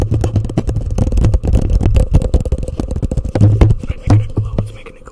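A hollow, empty orange plastic cup placed over a microphone is tapped rapidly with fingernails, producing a fast stream of muffled, boomy knocks with a resonant low hum. It ends as the cup is lifted off the microphone.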